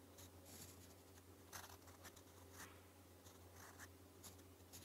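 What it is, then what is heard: Pen nib writing on paper. A gold metal fountain pen nib scratches across a thin, flat sheet of lined white paper while writing Korean in purple ink. About six short, bright scratchy strokes come in an irregular rhythm over a steady low hum. The writing stays quiet and close throughout.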